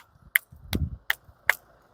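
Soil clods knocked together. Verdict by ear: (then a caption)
Hard. Two hard clods of clay-rich soil dug from deep in the ground are knocked together four times, giving sharp, bright, stone-like clicks instead of a soft crumble, with a low handling rumble between the second and third clicks. The hardness shows very high clay content, with the soil dried hard after standing continuously in water, making it a poor texture for growing bananas.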